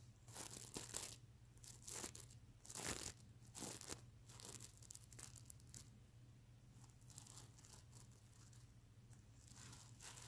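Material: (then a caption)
Plastic sequins. Fingernails scratch back and forth across the plastic sequins of a stuffed sequin-covered mermaid unicorn pillow, flipping the sequins from silver to blue. Bright, dry rasping and crinkling strokes come in louder bursts during the first four seconds, then settle into softer, steadier scratching over a faint low hum.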